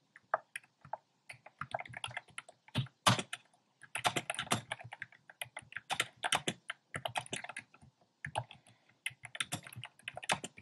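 Fingertips with short dark nails type on a compact plastic mechanical keyboard with a black plastic case and round pastel plastic keycaps. Quick bursts of dry, clacky keystrokes mix bright clicks with a low thud. Brief pauses separate the bursts, and each stroke dies away almost at once.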